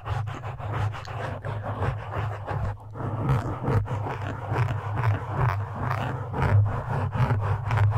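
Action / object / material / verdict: scrape / foam microphone windscreen / foam / none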